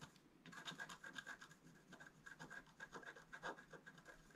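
A wooden stylus scratches a flat black wax-coated scratch-art paper card, held down by one hand, near the tail of the right squirrel in the picture. A quick series of short, dry scraping strokes carries a thin whistling tone around 1.6 kHz with bright grit on top, each stroke dying away almost instantly.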